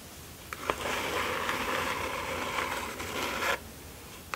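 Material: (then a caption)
Cardboard. Fingertips and long nails tap, then rub and scratch along the edges and sides of a small, closed, hollow kraft cardboard mailer box resting on satin fabric. Two sharp ticks lead into about three seconds of steady, dry, papery scratching that is bright in the mids and high end, which stops abruptly. A final quiet tick follows after a short pause.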